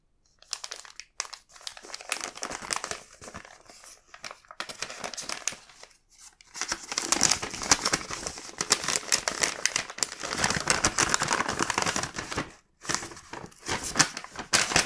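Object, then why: Paper gift bag. Fingers unfold and open a small, empty, black printed paper gift bag. The result is dense, bright crinkling and rustling with short pauses. The rustling grows louder and busier through the second half.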